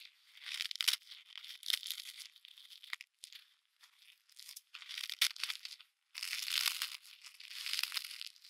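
A solid block of packed snow, held in gloved hands, is squeezed and broken apart by the mittens, giving bright, dry crunching and crumbling bursts with no low end, and the glove fabric may also be heard. The crunches come in irregular clusters separated by short quiet pauses, then grow denser and steadier toward the end.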